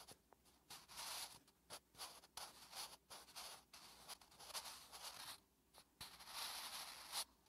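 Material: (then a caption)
Paper. A wooden graphite pencil held in the fingertips writes Korean letters on a thin, lined paper notebook page resting on a flat surface. The graphite makes bright, dry scratching strokes across the paper in short bursts, separated by brief quiet pauses, with almost no low end.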